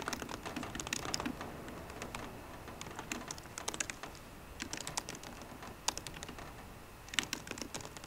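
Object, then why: Aluminum laptop keyboard with low-profile plastic keys. Fingertips with short green nails type rapid taps on the low-profile plastic keys of a 13-inch aluminum MacBook Pro keyboard. The result is a quiet stream of light, bright, dry clicks that die away instantly. They come in uneven bursts with a few brief pauses.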